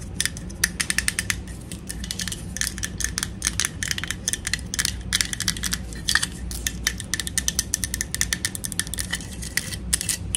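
Long acrylic nails tap rapidly and continuously on the body of a small, hollow, empty pink plastic toy teapot held in the hands. The clicks are crisp, bright and hollow with a tone near 1.8 kHz, and each dies out almost instantly over a low steady background hum.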